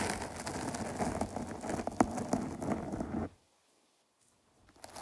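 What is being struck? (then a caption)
Foam microphone windscreen. Long nails tap and scratch the top of a dark foam microphone cover, then its sides, producing a dense, crackly rustle with sharp taps. The scratching stops abruptly after about three seconds and falls to near silence, then faintly resumes just before the end.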